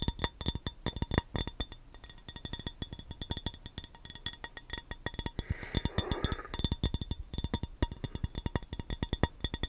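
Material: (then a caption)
Glass. An empty rectangular clear glass baking dish, hollow and held in the hands, is tapped rapidly with the fingernails. Dense, sharp clicks come with a low thud and bright ringing overtones, each dying away almost instantly. Around the sixth second a brief rustle joins the tapping.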